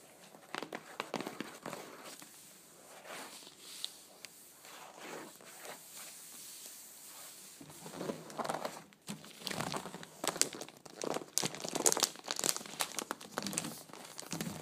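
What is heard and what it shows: Long blue nails tap and scratch the paper-covered top of a closed, hollow, flat rectangular cardboard box wrapped in glossy checkered wrapping paper. Quiet, crisp taps and crinkly, papery scratching are heard, bright and thin with little low end. The strokes grow louder and denser in the second half.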